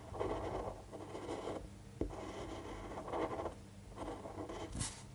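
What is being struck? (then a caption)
Fine-point pen on a paper sheet. A fine-point pen tip scratches and strokes across a thin white sheet of paper lying flat on a table while writing. Soft, raspy scratching comes in a series of short bursts with brief pauses, plus a sharper tick near the middle and a bright flick near the end. The result is a quiet, continuous scribbling texture.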